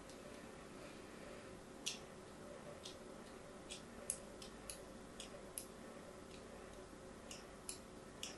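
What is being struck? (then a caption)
Bar of soap scored with a thin metal blade. A thin metal blade, held by fingers with long white nails, scores cut lines across a solid, palm-sized pink and white striped bar of soap held in one hand, with other soap bars behind it. Eleven short, bright, crisp scratching ticks stand out over a quiet, steady background hiss, each dying away almost instantly.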